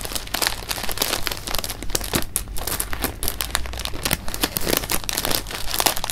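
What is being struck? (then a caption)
Clear plastic bag holding jelly beans. An open, clear plastic bag of jelly beans is held in the hands while the fingers crinkle the bag and move the beans inside. The result is a steady, irregular stream of bright plastic crinkling and rustling, with short crackles and soft shifting clicks from the beans throughout.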